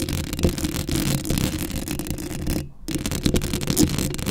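Long acrylic nails scratch the hollow metal mesh grille of a black Blue Yeti microphone. The result is a continuous, close, rasping scrape with a heavy low-end rumble and bright crackly edges. It briefly drops out near the end before the scratching resumes.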